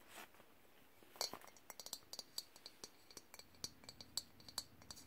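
Fingertips and nails tap the ridged glass lid and the body of an empty glass clip-top jar. After a soft brush at the start, around twenty quick, bright clinks and clicks follow in an irregular rhythm. Each one is high-pitched and dies away almost at once.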